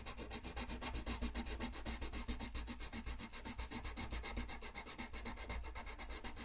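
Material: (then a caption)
Paper. A colored pencil tip rubs fast shading strokes across a thin white paper coloring sheet lying flat on a desk. The sound is a steady, rhythmic scratchy rasp, bright and papery, with each back-and-forth stroke pulsing quickly over a low, constant rumble.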